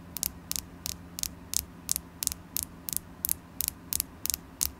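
Long acrylic nails tap a solid polished carnelian crystal point held in the hand, producing a steady series of short, bright, clicky taps, several landing as quick double clicks. A low mains hum runs underneath throughout.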